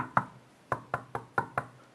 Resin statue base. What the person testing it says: it looks solid, but it's really a hollow base. When you tap it, you can tell it's hollow.